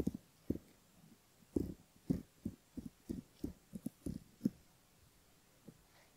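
Close up on a silicone ear model, the spoon tip of a bamboo ear pick scratches the front of the ear and the skin beside it. It makes a series of soft, short, dull scraping strokes with muffled low body and almost no brightness. Quiet gaps separate the strokes, and the sound thins out toward the end.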